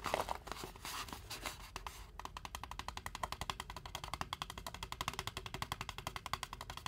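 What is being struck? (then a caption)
Styrofoam drink cup. Fingertips and nails tap rapidly all around the side wall of a large white foam fast-food cup with a blue Braum's print, held in both hands with no lid and said to hold water. The opening two seconds are a denser, noisier flurry of scratchy taps. Then comes a steady stream of quick, dry, bright clicks with a hollow tone near 630 Hz that die away almost instantly.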